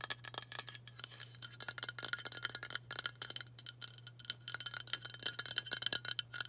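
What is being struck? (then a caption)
Aluminium aerosol spray can. Long matte burgundy nails tap fast on a hand-sized White Dove aluminium spray deodorant can, a hollow pressurised cylinder held in both hands. The result is a rapid, uneven stream of short, bright metallic ticks that die away almost instantly, over a faint steady low hum.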